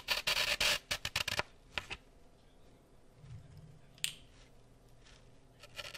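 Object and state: Floral foam block with toothpicks.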